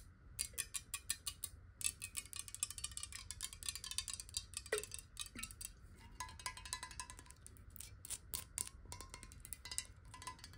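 Long nails tap quickly on the sides and bottom corner of a clear, square-sided glass water bottle that is hollow and partly filled with water. The result is a rapid, continuous stream of bright, crisp clicks that die away almost instantly, with a faint glassy ring near 1 kHz on some taps, over a low, steady background hum.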